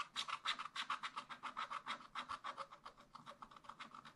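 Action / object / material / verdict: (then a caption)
scrape / wax-coated scratch-art paper scratched with a wooden stylus / coated paper / none. A wooden stylus scratches stripes onto a raccoon's tail drawn on black wax-coated scratch-art paper in a spiral-bound pad. It makes a quick run of about 26 short, dry, rasping strokes, each centered in the midrange with a bright, hissy edge and almost no low end. The strokes fade softly as the drawing goes on.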